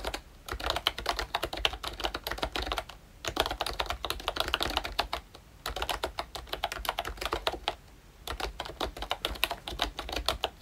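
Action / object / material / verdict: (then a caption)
tap / plastic membrane keyboard / plastic / none. Fingertips type continuously on a pink and brown plastic retro membrane keyboard, a ROYCHE Disney Mickey Mouse model. Quick, soft-edged clicky taps with a bright top come in dense bursts. Short pauses near 3 s, 5.5 s and 8 s break up the typing.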